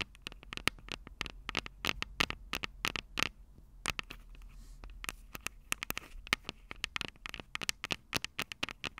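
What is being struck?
Metal microphone capsules of a handheld recorder.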